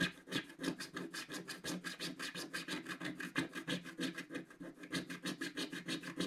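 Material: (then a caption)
Coated paper. A wooden stylus scratches rapid, back-and-forth strokes at the centre of a black-coated scratch-art card in a book. Each stroke makes a dry, bright rasping scratch, repeating about three times per second in a steady but slightly uneven rhythm. The strokes start and stop crisply, with no ringing between them.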